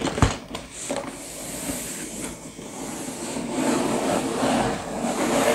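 Fingertips tap and rub the printed back face of a sealed, full, medium-sized hollow cardboard LEGO box lying flat. A sharp tap opens the clip, followed by a soft, continuous papery scratching and rubbing that grows slightly louder and brighter toward the end.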